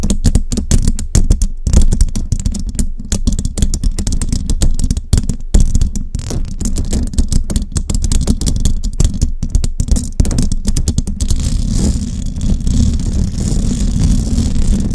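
Long nails with rhinestones tap and scratch a hollow metal mesh microphone grille, seen up close. Dense, rapid clicking taps land over a heavy, boomy low thump. Toward the end the sound turns into a steadier scraping rustle with a brighter hiss.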